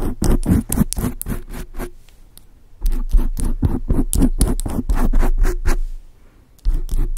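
Long acrylic nails from both hands scratch and tap a large, soft, porous dark grey foam windscreen on a microphone. The result is quick bursts of deep, muffled scratching and patting in three runs, separated by short quiet gaps.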